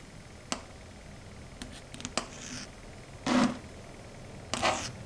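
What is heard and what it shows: Long red stiletto nails scrape along a flat, matte, dark grey chalkboard. Several sharp, bright clicks come first, followed by two longer and louder rasping scrapes. A faint steady hiss sits underneath.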